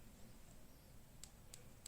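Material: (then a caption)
Metal. A metal crimp cable lug (spring terminal) seated in a plastic plug connector is wiggled, giving three faint, sharp high-pitched clicks over a low background hum. The clicks come from the terminal rattling because it is held too loosely in its socket and needs tightening.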